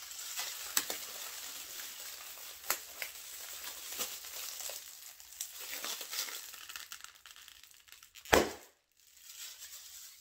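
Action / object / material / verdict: scrape / plastic air-filled packaging pillows / plastic film / none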